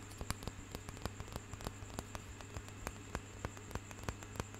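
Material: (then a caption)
Wood. A light wooden hand massager with a knobbed roller on a curved handle is held near the mic and tapped and scratched with fingertips and nails. About 17 sharp, irregular taps and clicks sound over a soft scratchy rustle. A steady low hum and a faint high whine run underneath throughout.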